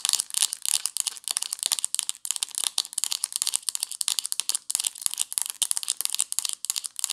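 Long nails scratch and tap the green ridged plastic screw cap on a white plastic supplement bottle. The result is a dense run of quick, dry, crackling scratches and clicks, almost entirely bright and high with no low end, each sound cut off almost instantly.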